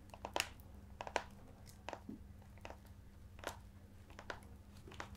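Fingers scratch and tap the embossed cover and spine edge of an ornate leather-bound hardcover book held against the chest. About a dozen short, dry, crinkly taps and scratches rise over a quiet, steady low hum, each fading almost instantly.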